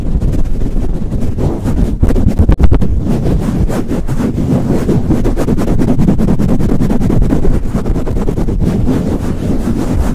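Fingertips rapidly rub and pump a soft, hollow black foam windscreen over a microphone. The result is a dense, continuous, muffled rumble of low thumps and scuffing with almost no bright content. There is a brief drop in level around two and a half seconds before the steady rubbing resumes.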